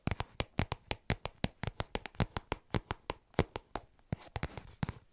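A small black faux leather zip pouch held close to the mic is tapped and scratched with long nails fitted with paper clips. About 28 quick, dry taps sound in a steady irregular rhythm, each dying away almost instantly, with faint scratching between them.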